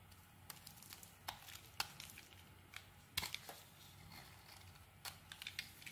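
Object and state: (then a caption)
Soap bar being carved. A metal utility blade carves chunks off a solid green rectangular soap bar held in the hand. The result is quiet, bright scraping with crisp crackling snaps that come in uneven bursts over a faint low hum.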